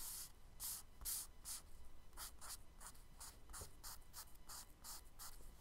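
A charcoal stick is dragged and rubbed in shading strokes across a flat brown kraft paper sketchbook page. It makes a steady run of bright, dry, scratchy strokes, each a short burst of high hiss over a faint low rumble, at a quiet level.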